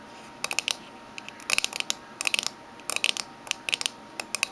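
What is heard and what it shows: Fingernails of both hands tap the lid and rim of a small, closed, oval aluminium Minteas mint tin resting on a table. About twenty quick, bright metallic clicks come in short clustered bursts, each with a brief tinny ring near 2.6 kHz that dies almost instantly. There is a steady faint high hiss in between.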